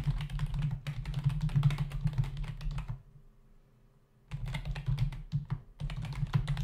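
Fingertips of both hands type on a black plastic membrane computer keyboard with a hollow body and plastic keys, resting on a desk. Quick, uneven clattering key taps, each with a bright click over a dull low thump, run for about three seconds. The typing stops into near silence for over a second, then resumes in two more bursts.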